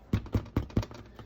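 After a 45-minute bake, a sourdough loaf is flipped over and tapped on the bottom, giving four distinct dull, low thumps with no ring, then a fainter tap. The hollow sound shows the loaf is baked through.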